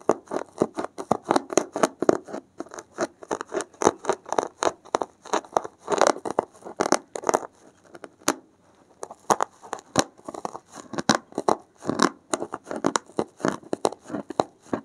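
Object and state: Foam block scratched with a needle.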